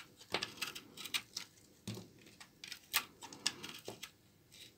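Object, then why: Laundry soap bar cut with a knife. A short knife blade shaves brittle chunks off a solid brown bar of old, dry laundry soap held in the hand. The scraping, cutting action makes a quick, irregular run of crisp, dry, bright crackles and snaps. Each one stops almost at once against quiet background hiss.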